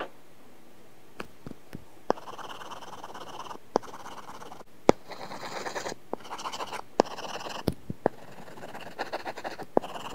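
A stylus tip makes fast scratching strokes while coloring on an iPad glass screen covered with a matte, paper-like film. Bursts of dry, papery scratching with a mid-range body are broken by sharp clicks where the tip taps the glass. The result is a soft, gritty, pencil-on-paper texture in a quiet setting.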